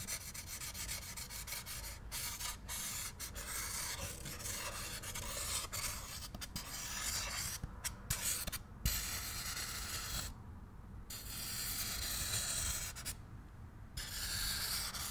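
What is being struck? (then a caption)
Polystyrene foam packing insert. Fingertips rub and grind two empty, molded pieces of a white polystyrene foam packing insert against each other, producing a continuous squeaky, rasping sound with bright, high-heavy texture. The grinding pauses briefly twice near the end, and the high hiss drops out before resuming.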